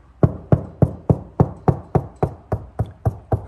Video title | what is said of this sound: Can You Install a EV Wall Charger Without Trouble? | it's pretty solid right there